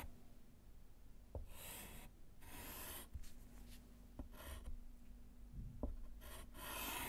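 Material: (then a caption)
Slate. A gloved hand writes letters in white chalk on a small handheld slate chalkboard in a wooden frame lying flat on a table, scratching the slate surface. Bursts of bright, hissy chalk scratching alternate with brief quiet gaps and occasional soft taps, over a steady low hum.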